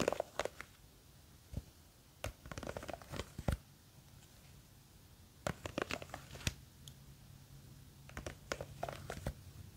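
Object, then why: Plastic jar filled with gel water beads. Long green fake witch nails grip and scratch the sides of a small clear plastic jar with a white lid, full of blue and clear gel water beads and held in one hand. Sharp, bright scratchy clicks and crinkly rasping bursts come in uneven clusters, separated by quiet gaps over a faint low hum.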